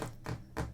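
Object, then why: Particle board desk tabletop. Three taps on a bare particle board IKEA desk tabletop, made to test what a nearby microphone picks up. Each tap is a dull, low thud that fades quickly.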